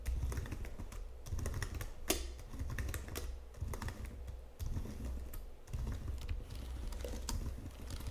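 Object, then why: Plastic computer keyboard. Fingertips with long nails type steadily on a white plastic Logitech full-size keyboard and tap its number pad, making a dense run of soft plastic clacks. The clacking is mostly low and thumpy, with one sharper tap near the two-second mark and a few brief dips where the typing slows.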